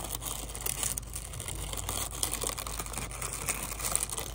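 Brown kraft paper honeycomb packing wrap is held in both hands, pulled apart and crinkled with the fingers, and possibly torn into two pieces. The result is a steady, dense stream of dry, bright crinkling and crackling, with a constant low hum underneath.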